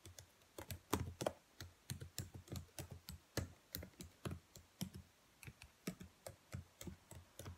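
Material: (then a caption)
Plastic. Long nails tap and press the black plastic keys of a dark laptop keyboard in a typing motion, making about 30 quiet, separate clicks. Each tap is a short, dull click with a low thump near 90 Hz and a faint bright tick, dying away almost at once. The taps come in an uneven typing rhythm.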